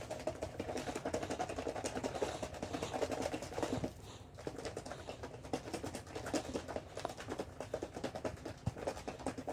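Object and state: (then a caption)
Cream thickened to whipped cream in shaken jar. Cream in a plastic jar is shaken hard and fast, making a dense, rapid patter of soft thumps and rattles, with a brief quieter pause near the 4-second mark before the shaking resumes. The jar sounds different now, no longer sloshing, because the cream has thickened toward whipped cream.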